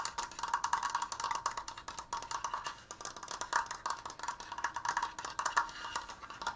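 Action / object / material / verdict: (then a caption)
tap / wooden slat frame / wood / none. Long nails and fingertips tap rapidly on the top edges and crossbar of a large stained wooden Triforce frame, a triangular frame made of slats. The taps are quick, dry and hollow, with a woody knock centred near 940 Hz and almost no ring. They come in an uneven, continuous flurry for the whole clip.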